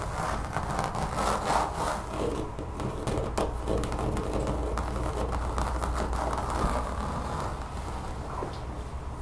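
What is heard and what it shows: Long fingernails on one hand scratch across a large brown textured rubber mat lying on a table. The result is a steady, dense rasping scrape with a low rumble underneath and a mid-pitched grainy texture that rises and falls in quick strokes.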